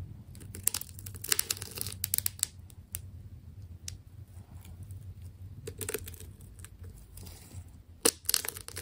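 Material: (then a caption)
Plastic tape. A small metal blade cuts and scrapes through the layers of a fist-sized white plastic tape ball with blue layered rings. Crisp, bright tearing and crinkling bursts come in irregular clusters over a low, steady background hum, with the sharpest snaps near the start and end.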